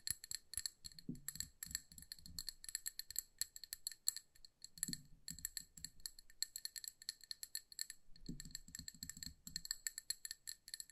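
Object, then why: Small glass candle jar filled with wax. A small amber glass candle jar filled with wax is tapped rapidly with long nails, producing dense, bright, crisp clicks with a faint glassy ring. Three short bursts of lower, duller rattling taps rise briefly from the steady high clicking.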